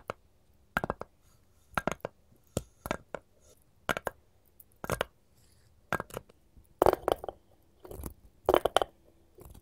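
Long pointed gold metal finger claws, first on one hand and then both, tap and scratch the flat face of a solid, light wooden cutting board held upright. The result is quick clusters of short, dry, clicky taps with almost no ring, mixed with brief scratchy strokes and quiet pauses between bursts.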